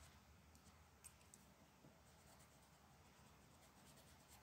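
A purple colored pencil, held in a hand with long black nails, rubs and scratches across a single flat sheet of printed mandala paper lying on a dark wooden table while coloring. The quiet, steady scratchy hiss is broken by three brief, brighter scratch peaks.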